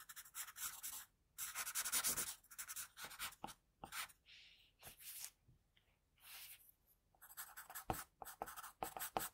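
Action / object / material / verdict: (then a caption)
scrape / graphite pencil on drawing paper / paper / none. An HB wooden pencil held in the fingers draws and shades a face on flat white drawing paper, its graphite tip scratching the sheet. Dense, bright scratchy strokes come in quick bursts with short pauses between them, with a softer rubbing passage in the middle. Little low end is heard.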